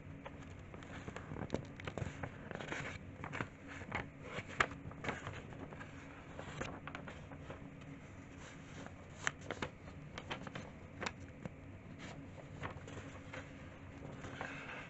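An open, old handwritten school notebook with thin, dry, crinkly pages is rubbed by bare fingertips with painted nails, and its pages are turned quickly. Soft crinkling and rustling run throughout, punctuated by brief, sharp paper snaps and crackles with bright edges.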